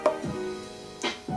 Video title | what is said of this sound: How to Trim Bowls with a Foot Ring - Michael Murray Ceramics | it's getting a little lighter